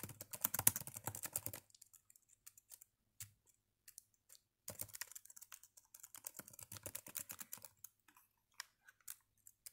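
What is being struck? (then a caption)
Plastic laptop keyboard. Fingertips type on the black chiclet keys of a red plastic Dell laptop with a hollow body. A fast, dense burst of bright, dry key clicks is followed by a quieter stretch of scattered single taps, then a second run of rapid typing that thins out into occasional clicks. Each click is short and crisp with almost no ring.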